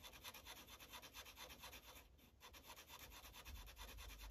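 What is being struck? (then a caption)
Marker tip on paper sheet over clipboard. A yellow Sharpie marker tip rubs back and forth over a thin paper coloring page on a clipboard in quick coloring strokes. The result is a steady, rhythmic, bright scratchy rubbing with a low thump from the board beneath, easing briefly midway before continuing.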